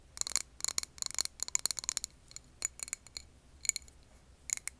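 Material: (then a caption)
Glass. Long painted nails tap a clear glass jar filled with green wax candle, recorded over an earbud mic. Quick bursts of bright, high, dry clicks come in small clusters with almost no ring or low end, over a faint, quiet background.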